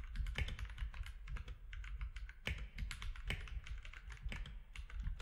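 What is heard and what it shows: Fingertips of both hands type steadily on a compact mechanical keyboard with grey, white and orange plastic keycaps. The rapid keystrokes give short, dry clacks with a deep low thud under bright clicky tops. A few strokes land harder than the rest, and each one dies away almost at once.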